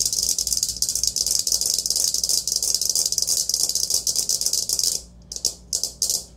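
Long nails tap and scratch a hollow, empty, perforated aluminium colander with handles, held against the chest. A dense, bright, rattling scrape runs almost continuously for about five seconds, then breaks into a few short separate bursts with quiet gaps between them.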